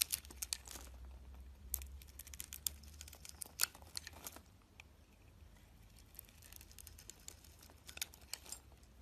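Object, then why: Soap bar. A box-cutter blade slices and peels thick shavings off a solid rectangular soap bar with a glossy pink coating over a cream interior, held in the hand. Sharp, bright crackling scrapes and crisp crumbly clicks come in clusters over a faint low hum, quieting midway before a few more cuts near the end.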